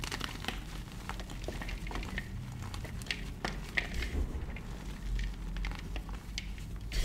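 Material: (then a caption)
Magnesium carbonate. White frozen gym chalk blocks (magnesium carbonate) and crumbs in a bowl are crushed and crumbled between the fingers and palms of both hands, with short painted nails, as powder falls. A steady, dry crinkling crumble runs throughout, dotted with sharp, brief crackles and crunches over a soft low rumble.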